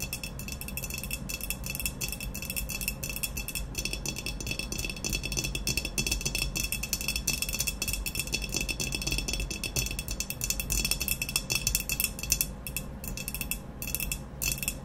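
Long nails tap quickly and continuously on an upright, hollow, glazed ceramic vase with a matte black textured body. The taps blur into a dense, steady stream of bright, crisp clicks with a faint glassy rattle, a low body thump underneath, and almost no ring after each tap.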